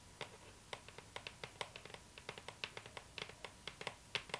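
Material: Cardboard.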